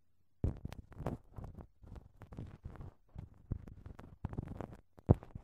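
A thin wooden ear pick scratches inside a right-side silicone dummy microphone ear wrapped in clear, crinkled plastic cling film. It produces a run of close-miked, low, muffled rustling and crinkling scrapes in short repeated bursts, with a sharper pop near the start and a louder crackle near the end. The sound is dry with almost no ring.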